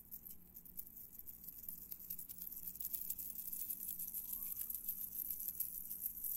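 A long, heavy gold-tone metal link chain necklace is held up in both hands by the fingertips and shaken, rattled and handled, with metal bracelets and a watch on the wrists. The result is a quiet, continuous, bright metallic jingle and patter of small clinking links over a steady low hum.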